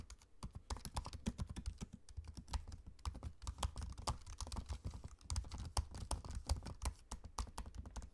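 Fingertips type steadily on a MacBook-style laptop keyboard with low-profile plastic keycaps set in a space-grey aluminium body. The result is a rapid stream of soft, dry taps with a low, dull thump under each click and almost no ring, pausing briefly around the middle before picking back up.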